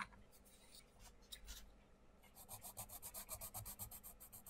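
A wooden colouring pencil is scratched back and forth on a thin paper page of an open paperback colouring book resting on a wooden table, filling in a small area while the other hand holds the book open. Soft, irregular scratching gives way after about two seconds to a quick, steady rhythm of bright, raspy strokes, all at a quiet level.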